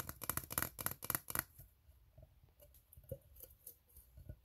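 An empty, open, ribbed steel tin can, hollow with its inside visible, is tapped with fingertips while nails scratch across its ribs. For the first second and a half, dense bright scraping bursts fill the clip, then they give way to quieter, sparse, short metallic taps with a faint ring.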